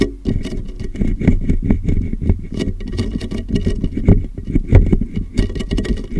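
Fingertips rapidly tap the sides of a large, clear, hollow, empty plastic water jug with a molded handle, held upside down over a microphone. The result is a fast, continuous patter of low, boomy, hollow thuds centered around 86 Hz. Each tap dies away almost at once, with little high-end content.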